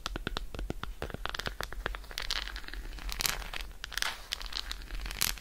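Long acrylic nail tips scratch and tap quickly across the embossed squares of an unwrapped dark chocolate bar, a solid segmented slab held in one hand. A rapid run of short, crisp clicks and scratchy rasps rings out bright and dry, over a steady low rumble.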